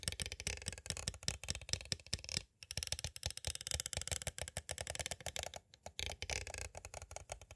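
A small, hollow, clear hard plastic cassette case with a paper insert and a cassette inside stands upright while two thin, green-handled pointed tools tap and trace across it. Rapid, crisp plastic clicks and scratchy scraping rattle in quick bursts, with brief pauses around 2.5 and 5.7 seconds.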